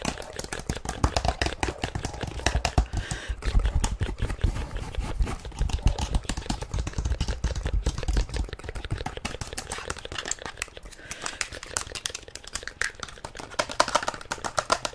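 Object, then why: Plastic inline skate boot shell. Long nails tap and scratch rapidly on the hollow shell of a black plastic inline skate boot with a mesh panel. The result is a dense run of sharp, clicky taps with short decay and scraping textures over a heavy low rumble.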